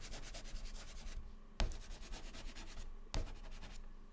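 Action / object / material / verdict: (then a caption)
scrape / white chalk on a chalkboard / chalk / none. White chalk held in the fingertips fills the cells of a grid drawn on a black chalkboard panel with fast zigzag scratching. Bursts of dry, rapid strokes are broken by short pauses, and two sharp taps are heard as the chalk meets the board again at about 1.6 and 3.2 seconds.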